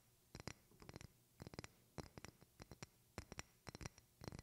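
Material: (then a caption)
Glass. A medium rectangular glass perfume bottle with a silver cap, held in both hands, is tapped and scratched with long painted fingernails. Quick clusters of short, dry clicks with bright high glassy ticks and a soft low body come in rhythmic bursts, separated by brief quiet gaps with almost no ring.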